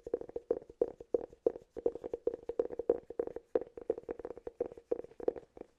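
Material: Cork.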